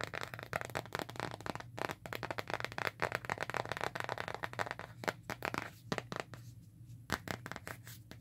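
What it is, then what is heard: Plastic phone case. Long nails tap and scratch the printed back of a hand-sized smartphone in a black plastic case printed with "Hakuna Matata". The result is a dense run of quick, crisp plastic clicks mixed with scratchy rustling over a faint low hum.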